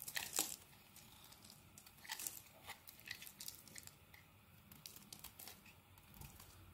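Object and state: Bar of soap.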